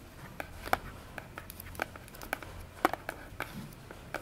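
Long nails tap and scratch the face of a small orange cardboard box held close in both hands, giving quick, light, dry clicks with a hollow midrange tone and faint scratching between them. The taps come at irregular intervals over a quiet background.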